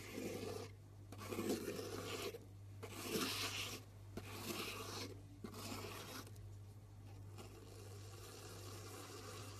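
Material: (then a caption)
Soap. The tip of a knife scores a grid of lines into the top surface of a solid pink round soap bar, making dry, raspy scratching strokes separated by brief pauses. The strokes come in uneven bursts over a faint, steady low hum.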